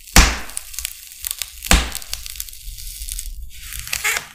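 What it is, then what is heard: Styrofoam sheet being scored. A metal utility knife blade scratches and scores lines across the bead surface of a large, flat, solid white expanded polystyrene (styrofoam) sheet. Two sharp, loud cracks with deep low thumps stand out, and softer squeaky, crinkly scraping and ticking fills the gaps between them.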